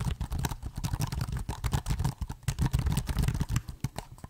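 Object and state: Laptop keyboard with plastic keys.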